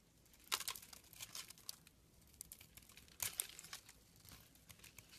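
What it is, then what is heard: Glycerin soap bar being carved. A hand-held, palm-sized, solid brown translucent glycerin soap bar is scraped and gouged with a small green plastic-handled carving tool, flaking off thin orange shavings. The sound is a quiet run of dry, crisp crinkling scrapes, bright and high with almost no low end. Two stronger bursts stand out among the lighter scratches.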